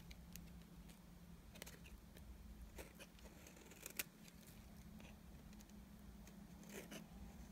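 A metal blade with a yellow handle scrapes across the surface of a flat, rectangular, palm-sized bar of solid cream-colored dry soap held in one hand, peeling off curls and shavings. The sound is quiet: scattered dry, crisp scratches and ticks over a steady low hum, with one sharper click near the middle.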